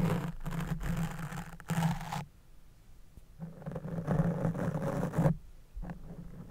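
A small white-handled spoolie makeup brush scratches and brushes against a fist-sized, soft, porous black open-cell foam windscreen on a silver USB microphone. Two long bursts of dense, rumbling scratching, dark and low with a steady hum underneath, are separated by a quieter pause. A shorter, softer scrape follows at the end.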